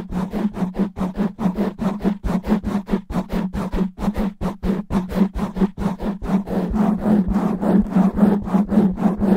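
Long natural nails of both hands scratch fast and roughly over a soft, porous black foam windscreen on a microphone. The result is a continuous run of quick, gritty rasping strokes with a steady low hum near 200 Hz beneath them, growing slightly denser and louder toward the end.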